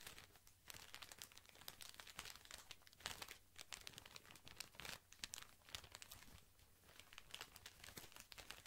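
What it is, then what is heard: Plastic-film-wrapped cotton pad pack. A tall cylindrical pack of cotton pads wrapped in thin white plastic film is held in one hand while fingertips squeeze and scratch the film. Dense, bright crinkling comes in irregular bursts, with a faint low hum underneath throughout.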